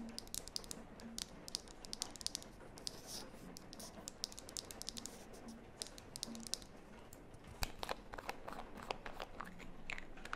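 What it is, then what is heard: Small plastic cosmetic jar. Long nails tap and scratch the sides of a small, hollow red plastic lip mask jar with a lid. The result is a quiet, steady run of crisp, bright clicks and scratchy rustling over a faint low hum, with a few sharper taps standing out along the way.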